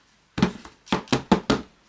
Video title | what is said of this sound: Learn to make a stunning wreath with Kamihimo Craft Paper | They're quite solid too, you know, like you can, you know, it sounds solid.